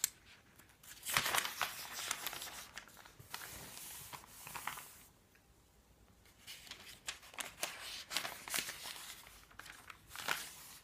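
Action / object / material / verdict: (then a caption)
scrape / thin printed paper pages of a phone book / paper / none. Fingertips lift, curl and turn the thin printed paper pages of an open paperback phone book, and a palm brushes across them. Bright, crisp rustling and crinkling comes in bursts: a loud flurry early on, softer sweeping brushes, a brief near-silent pause, then a run of quick, sharp page flicks.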